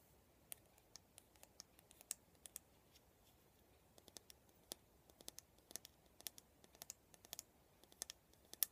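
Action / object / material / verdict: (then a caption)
tap / plastic hairbrush / plastic / none. A black plastic paddle cushion hairbrush with a silver band on the handle is tapped and scratched by fingertips and nails on its handle and head. The result is a quiet series of sharp, bright clicks and light scratches with almost no ring, scattered irregularly over a faint hiss.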